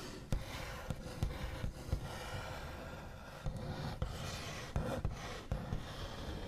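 The backs of fingernails rub, trace and tap across a large, flat, solid wooden tabletop with a smooth white finish. A soft, continuous scratchy rasp is broken by several short, dull taps that die away almost at once. The sound is mostly low and muffled, with little brightness.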